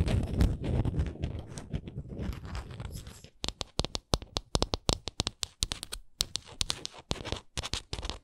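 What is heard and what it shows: A small, solid painted wooden souvenir ornament, held in the hands, is scratched along its edges and faces with long acrylic nails, making a dense, rustling scrape for about three seconds. Then come quick, irregular, sharp taps with bright, dry clicks that die away almost at once.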